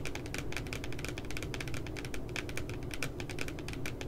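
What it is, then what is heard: Spiral notebook with glossy paper cover. Fingertips and nails tap rapidly at the bottom edge of a spiral notebook with a glossy paper cover and a cute puppy design, lying flat. Quick, uneven, crisp clicks with a bright, papery edge sit over a steady low rumble. Each tap dies away almost at once.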